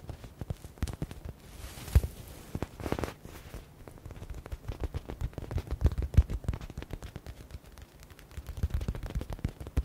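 Fingertips and nails tap fast on a hand-sized, yellow, stitched smiley-face stress ball with a soft foam filling and a synthetic leather cover. The result is a dense, irregular run of quick, dull, low thuds with almost no ring, broken by a couple of brief brushing swishes early on.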